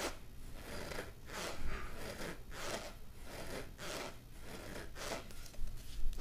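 A long, hollow, pink corrugated plastic pop tube toy is held in both hands and stretched and pulled so its ridges snap and crackle. Bright, crisp crackling bursts come and go in a steady rhythm over a low, soft rumble.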